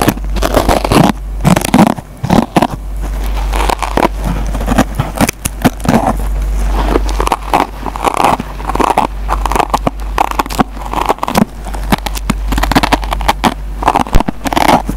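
A metal pencil tip scratches the green nylon scouring pad on a yellow foam sponge. The result is a dense run of dry, crackling scrapes and crunchy bursts over a steady low hum, lasting the full 15 seconds.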